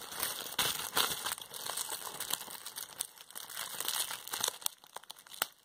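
A bunched piece of clear plastic bubble wrap, held in both hands, is pinched and squeezed with fingertips and long nails. Bright, dense crinkling runs throughout, broken by sharp, quick pops with almost no low end. The sound grows a little quieter and sparser toward the end.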